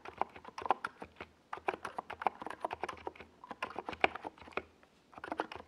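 Both hands type with their fingertips on a NiZ Plum Atom 68, a compact 68-key mechanical keyboard with a hollow white plastic case and purple and yellow plastic Domikey Gas Attack SA keycaps, resting on a desk pad. Quick, dry, mid-pitched clacks come in uneven bursts with brief pauses. Each keystroke dies away almost at once.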